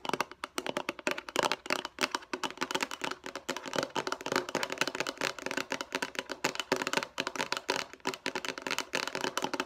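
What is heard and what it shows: Long nails tap and scratch quickly over the sides and face of a hollow, light blue rectangular plastic food storage container. The result is a dense stream of dry, hollow clicks and scrapes with almost no low end and a bright edge, each tap dying away at once.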